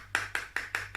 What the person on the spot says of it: So Mummy's Vaseline bottle has a funny sound because it sounds like metal.